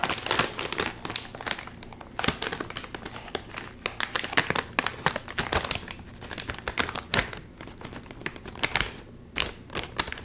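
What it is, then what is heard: Crinkled foil chip bag. A red and white sealed metallized plastic chip bag, full of chips, is gripped at the top and crinkled and twisted by fingers while trying to open it. Dense, bright crinkling and crackling comes in irregular bursts of sharp snaps that die away quickly, with a faint low rustle beneath and brief quieter gaps between squeezes.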